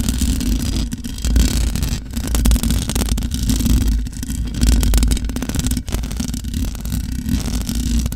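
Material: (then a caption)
Metal mesh. Long nails of both hands scratch and tap the top of the hollow metal mesh grille of a large black microphone. The result is a dense, continuous scratchy rustle with a heavy low rumble and frequent small taps, swelling and dipping in bursts.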